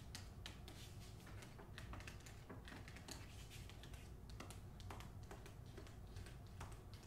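Long acrylic nails tap and scratch the front cover of a medium hardcover novel, "The Hacienda," with a glossy paper dust jacket, held upright. Quick, bright clicking taps and brief scratches run steadily over a quiet, low, humming background.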